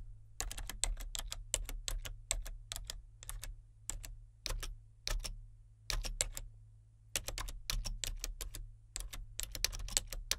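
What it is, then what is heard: Plastic membrane computer keyboard. Fingertips type on the main keys and number pad of a solid, full-size plastic membrane computer keyboard with a colour-changing backlight. Soft, bright, clicky keystrokes come in uneven bursts with short pauses between them, over a steady low hum. Each keystroke ends almost instantly.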